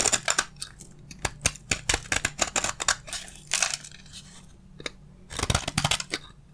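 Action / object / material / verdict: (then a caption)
scrape / bar of soap / soap / none. A solid, dry bar of soap held in one hand is scraped with a utility blade, letting shavings fall onto the table. The scraping comes as a quick series of crisp, bright, crunchy strokes with short, dry attacks and almost no ring. The strokes cluster into bursts separated by quieter pauses.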